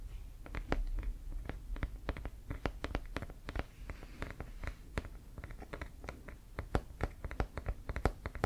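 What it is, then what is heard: Composite leather American football. A full-size, inflated, hollow brown Wilson composite leather American football with laces is held in hand and tapped and scratched with fingertips and nails. Quick, dull low thumps mix with crisp, bright clicks and light scratching in an irregular, rapid patter, each tap dying away almost instantly.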